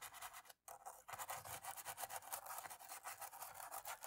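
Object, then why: Plastic laptop keyboard. A cotton-tipped stick scrubs and scratches between the black plastic keys of a laptop keyboard. Quick, dry, rasping back-and-forth strokes with a bright, scratchy texture and almost no low end, broken by a brief silent pause near the start before the rubbing resumes steadily.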